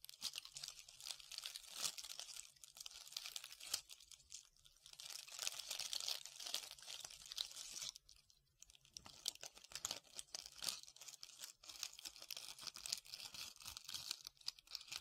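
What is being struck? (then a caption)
Foam ball covered in glitter or beads. Long red-painted nails scratch a solid, hand-sized white foam ball covered in glitter or beads, held in one hand. The result is a quiet, dense, bright crinkling and crunching scratch with rapid tiny ticks, pausing briefly around 4.5 and 8 to 9 seconds.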